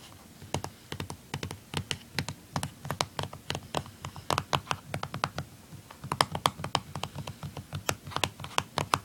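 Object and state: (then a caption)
Plastic handheld game console casing. Fingernails tap and scratch the underside of a blue plastic handheld game console, across its back casing and label. A steady run of quick, dry plastic clicks and scrapes, each bright on top with a soft low knock beneath, dies away almost instantly, with the rhythm growing denser and louder toward the end.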